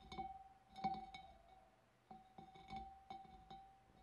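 Fingernails tap on a glass fish bowl, nine quiet, uneven taps. Each tap brings out a clear glassy ring near 780 Hz with bright overtones, which fades quickly and lingers faintly between taps.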